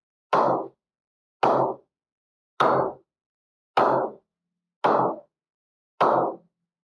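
A ball is tapped six times on the face of an English willow cricket bat (model SD 5000, toe about 32 mm, edge 45 mm, priced 9500), each tap a crisp, woody ping centred around 700 Hz that fades in about a third of a second. The taps come at a steady, unhurried pace, roughly one every 1.2 seconds. The clear ping marks it as a good bat, ready to play.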